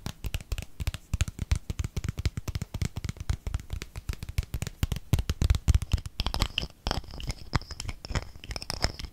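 A gold-colored plastic cosmetic squeeze tube with a gold cap is held in the hands and rapidly tapped and scratched with fingernails. It makes a dense run of short, dull, low-pitched taps with no ring. In the last few seconds, brighter, crinkly scratching joins in with a faint high-pitched edge.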